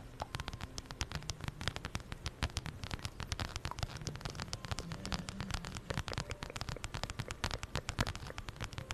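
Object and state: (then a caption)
Fabric and faux-leather wallet. Long nails tap and scratch rapidly on a zip-around wallet with plaid fabric and a brown faux-leather strap, held in both hands above the microphone. Many quick, dry clicks and scratches patter densely over a low, soft rumble, each tap bright and short with no ring.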